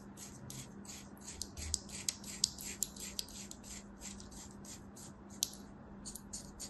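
A thin knife blade scratches and slices a crosshatch pattern into a solid beige mound of kinetic sand resting on a palm. A quick series of soft, crisp, bright scraping strokes is heard, a few sharper than the rest, over a faint steady low hum.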